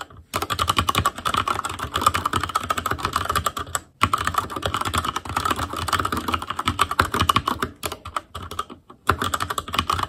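Fingertips of both hands type rapidly on a full-size ASUS ROG Claymore Core mechanical keyboard with plastic keycaps on Cherry MX Red switches over a metal plate, in a hollow case with RGB backlight. Dense, fast key taps give a steady clattering with a prominent mid-pitched tone and a bright edge. The typing breaks into short bursts with brief pauses near 4 and 9 seconds.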